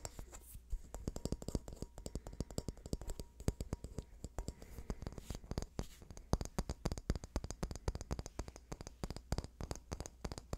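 Fingernails tap and scratch a small, hand-sized rectangular wooden box with ribbed or carved sides, likely hollow, held close to the microphone. A dense run of quick, dry clicks and taps mixes with soft scratching over a low, muffled body, and each tap dies away almost instantly.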